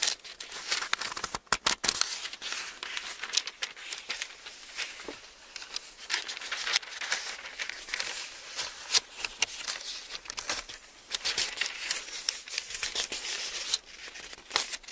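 A knuckle or fingertips push and flip the thin paper pages of an open bible book, making the paper rustle. The sound is a dry, bright crinkling and rustling with many quick, sharp page flicks and almost no low end, rising and falling in bursts throughout.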